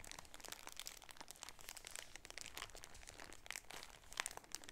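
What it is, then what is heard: Plastic-wrapped shower curtain. Fingernails crinkle the top of a clear plastic bag holding a striped shower curtain with a grommet, then both hands squeeze the package. A soft, steady stream of dry, bright crinkles and crackles runs throughout, with a few sharper crunches near the end.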